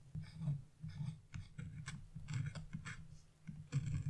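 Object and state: Scratch-art paper being scratched.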